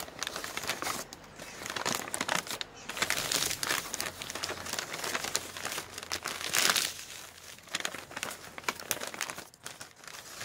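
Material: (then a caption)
Newsprint paper. Both hands squeeze and crumple a large, already crumpled sheet of thin printed newsprint advertising flyer, fingertips gripping and rubbing the paper above a pile of flyers on a wooden table. Dense, bright crinkling and crackling runs throughout, with almost no low end. It swells loudest around the middle and again near the end before thinning out.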